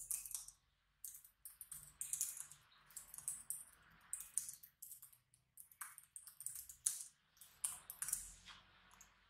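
Fingertips type continuously on a black plastic laptop keyboard with small hollow keys, both hands on the keys and the mouse left untouched. The sound is a quick run of light, bright clicky taps in bursts separated by short pauses, with almost no low end.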